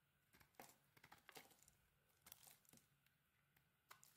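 A metal utility knife blade carves into a solid green-coated cream soap bar with an embossed logo, cutting chunks away. Crisp, bright scraping crunches arrive in short clustered bursts with quiet pauses between, over a faint steady low hum. Each cut ends dry, with almost no ring.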